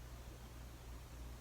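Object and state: Nothing is struck.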